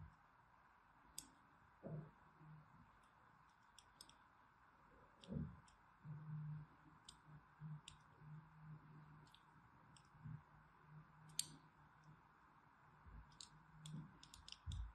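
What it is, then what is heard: Bar of soap being scored. A thin needle tool scores a palm-sized, solid green Absolut bar of soap held in the hand. Quiet, bright scratchy clicks and ticks sound at irregular intervals over a low, steady background hum.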